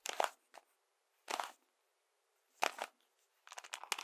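A hand-sized hollow cube built from colored plastic toy bricks, with moving parts, is held in both hands while fingertips twist and click it. Short, quiet bursts of dry, bright plastic clicking and crackling are separated by silence, with a denser run of rapid clicks at the end and no low rumble.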